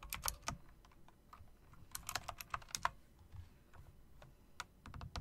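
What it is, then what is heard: Plastic and metal mechanical keyboard being typed on. Long nails and then fingertips type on a plastic and metal typewriter-style RGB mechanical keyboard with round plastic keycaps in chrome rims. The result is an irregular run of sharp, bright clicks with almost no ring, some louder than others, over a faint low background rumble.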